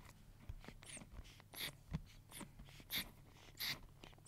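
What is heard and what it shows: Long nails rub and flick across the black plastic pins of a pink plastic paddle hair brush, making about ten quiet, bright, scratchy bursts over a low steady hum. Each flick is a short crisp rasp that stops almost at once.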